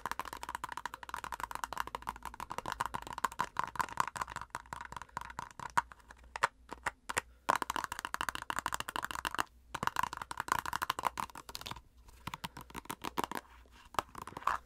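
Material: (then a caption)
Plastic. Long nails rapidly and irregularly scratch and tap a white plastic cosmetic squeeze tube, working over both its crimped flat end and its body. Dense, dry clicks and scrapes with a hollow plastic ring centered near 1 kHz, separated by a few brief pauses, die away almost instantly.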